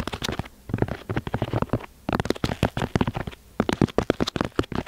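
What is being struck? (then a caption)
Moulded block of kinetic sand. Fingertips and nails tap and scratch the top of a solid rectangular block of grey-beige kinetic sand, molded from a box and resting on a white board, with microphone cables leading into the sand. The sound is quick bursts of soft, dull, low taps mixed with grainy scratching, separated by brief quiet pauses.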